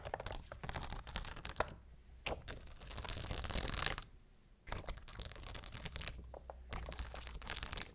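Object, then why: Rhinestone sheet on clear plastic backing. Long blue acrylic nails scratch and tap across a large, thin, flexible transparent sheet of clear plastic backing covered in rows of small faceted rhinestones, held up in the air. Dense, crinkly scratching and sharp clicking taps come in bursts, bright and crackly over a low rumble, with a brief quiet pause in the middle before the scratching resumes.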